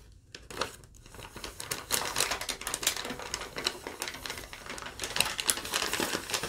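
Long nails tap and crinkle a crumpled, thin sheet of yellow lined paper, then fold it. The result is a dense stream of bright, crackly paper crinkles and sharp clicks that starts quiet and grows livelier, with little low-end body.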